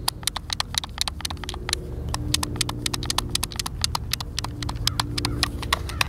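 A white, hand-sized, hollow plastic Xbox controller is held in both hands while fingertips and thumbs press and click its buttons. The result is a rapid, uneven run of dozens of short, dry, bright clicks centered around 2.6 kHz, with a steady low rumble underneath.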